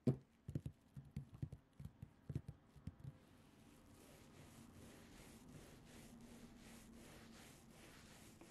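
Long acrylic nails on both hands scratch the surface of a colourful printed cotton terry cloth towel lying flat. About twelve soft, dull taps and scrapes come first over roughly three seconds. They give way to a steady, quiet, muffled rubbing that continues to the end.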